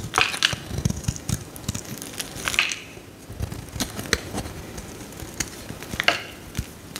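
A metal utility knife blade scores a solid bright green soap bar held in the hand and scrapes off shavings. Crisp, crunchy cuts and crackly scraping come in an irregular series of sharp, bright bursts with very little ring, over a faint gritty rasp between strokes.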